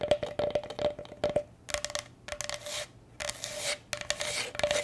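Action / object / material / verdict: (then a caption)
scrape / bamboo cutting board / bamboo / none. Long nails scratch and tap across the wooden surface of a solid, rectangular striped bamboo cutting board held upright in both hands. A quick run of sharp, dry taps gives way to longer bursts of bright, rasping scratching, each carrying a faint steady tone near 600 Hz, with short quiet gaps between strokes.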